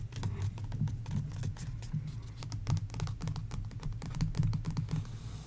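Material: Paper.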